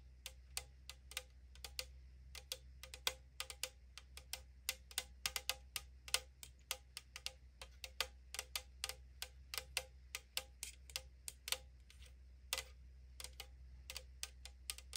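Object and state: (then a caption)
Aluminium drink can tapped with nails. Long acrylic nails tap rapidly on the side of a tall printed AriZona aluminum drink can lying on wood. The result is a long, uneven run of sharp, bright ticks that die away almost instantly, over a faint steady low hum.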